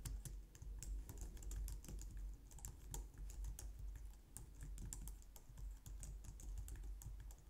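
Long nails and fingertips type steadily on a compact, low-profile white plastic computer keyboard. The result is a quick stream of short, bright plastic clicks that die away almost instantly over a soft, constant low hum.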